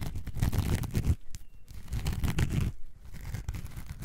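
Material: Foam.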